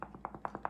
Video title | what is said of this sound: How To Render Tallow: Wet vs. Dry, and must know tips! | if you can hear it crinkle that one has not sealed